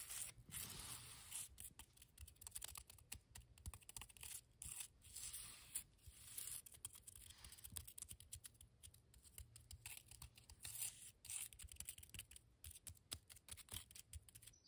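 Long pastel fingernails tap and scratch across the textured surface of a mound of grey, damp cement mortar. Quick, dense clicks and gritty scraping crackle with bright highs and a low undertone, in short bursts with no ringing afterward.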